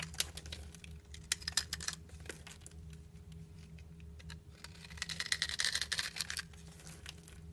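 A solid black bar soap held in a hand with long nails is shaved with a utility knife blade. Bright, crisp scraping and crackling strokes come in irregular bursts, thickening into a dense run of shaving in the second half. A faint steady low hum sits underneath throughout.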